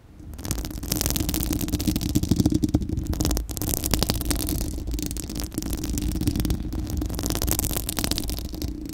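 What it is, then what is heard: Metal mesh microphone grille scratched by fingernails. Long acrylic nails on both hands scratch a bare, round steel-mesh microphone grille with a hollow dome. They make a continuous, dense, crackly scraping with a heavy, rumbling low-end body, and fine high, bright detail on top. The scratching stays steady for about nine seconds, with a brief dip partway through.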